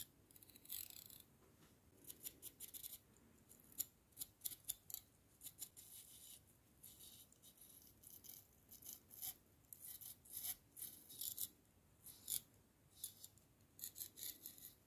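A hollow stainless steel drinking straw is held in both hands while a thin wire straw-cleaning brush is pushed and pulled inside it. The result is a quiet series of short, scratchy, bright rubbing bursts that rattle with little low end and stop abruptly with almost no ring.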